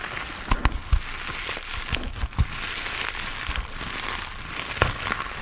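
A hand-sized grey textured foam sponge on a tan foam base, solid and porous, is held in both hands while fingertips and nails scratch and tap its surface. Soft, dull taps thump over a continuous bright, crackly scratching hiss that sounds a bit like rain or crinkling.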